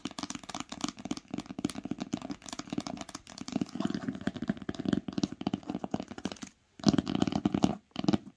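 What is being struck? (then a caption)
Cloth-bound hardcover book. Long pink acrylic nails tap quickly on the top cover of an old green cloth-covered hardcover book with a solid paper block, lying flat on a knit blanket. The result is a dense stream of short, dry taps, each a muted low-mid thud with a crisp click that dies away at once. The taps pause briefly near the end, then return in a louder burst.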